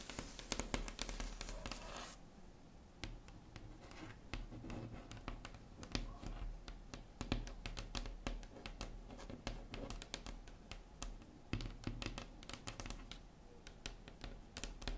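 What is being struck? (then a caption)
Wooden tabletop tapped with long acrylic nails. Long red acrylic nail tips tap rapidly on a solid, flat wood-grain tabletop, producing a dense stream of short, dry clicks with no ring. The taps are mixed with light scratching, and the first two seconds carry a brighter, hissier scraping before settling into steady tapping.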